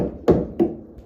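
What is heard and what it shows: A wooden beam, not attacked by insects, is knocked twice, giving two solid, low-mid knocks with a short ring that marks it as healthy wood.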